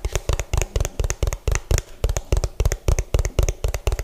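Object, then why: Hollow plastic food container. Both hands tap fast with fingertips and nails on the bottom of an orange, hollow plastic food container, which faces the mic. About 23 quick, unevenly spaced taps sound over four seconds. Each is a deep, hollow thump with a bright nail click that stops dead, with no ring.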